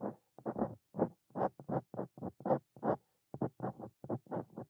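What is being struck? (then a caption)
Steel dip pen nib on a paper notebook page. A steel Brause Cito Fein dip pen nib scratches across a flat white paper notebook page while writing handwritten Korean lines. The sound comes as short, dry, papery scratching strokes in quick, irregular bursts separated by brief silences, with most energy in the low-mid range and little high content.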